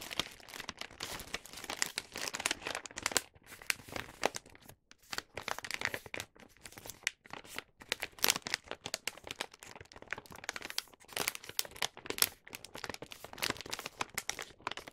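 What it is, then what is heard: Paper gift bag being folded. A star-print paper gift bag filled with snacks has its top folded and pinched closed by fingertips. The paper crinkles continuously in dense, bright rustles with short pauses.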